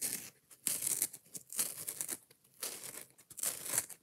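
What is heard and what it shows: A foam kitchen sponge with a scouring pad is held up while long nails scratch quickly along the edge of the green abrasive pad and across the yellow foam. The result is bursts of dry, bright, raspy scratching with almost no low end, each dying away fast between strokes.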